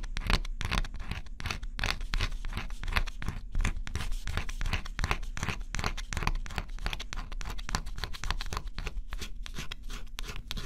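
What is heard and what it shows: A small stylus held in the fingertips scratches the black coating off a flat, thin cardboard scratch-off jigsaw puzzle with repeated short strokes. Each stroke gives a quick, dry, bright scratching rasp, like light tearing, over a steady low rumble. The scraping continues in a dense, even rhythm throughout.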